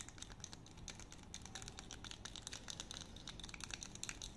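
A small, solid light-wood honey dipper with a grooved head and a thin handle is held in both hands while fingertips and nails tap and scratch its head and grooves. The result is a quiet, rapid stream of dry, bright clicks and light scratching that stops instantly with no ring, over a low, steady rumble.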